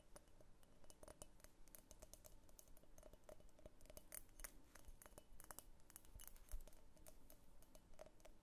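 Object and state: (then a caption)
Glass vase tapped with fingernails. A medium pink cased-glass vase with a thick clear glass base, hollow and empty, is tipped while held tilted, then set upright, and tapped and scratched with long painted fingernails. Quiet, rapid clicking taps and scratchy brushing run throughout, with sharp bright ticks and a faint glassy ring.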